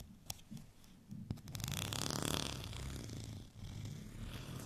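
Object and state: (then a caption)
Textured plastic rolling pin. A white, bumpy plastic rolling pin, held at an angle, is scratched with fingernails. A couple of sharp ticks open into a rapid, grainy rasping that swells into a dense, bright scratch, briefly dips, then carries on, with a low rumble underneath.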